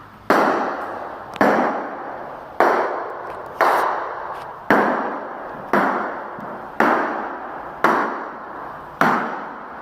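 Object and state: Tile floor with hollow spots from a delaminated membrane.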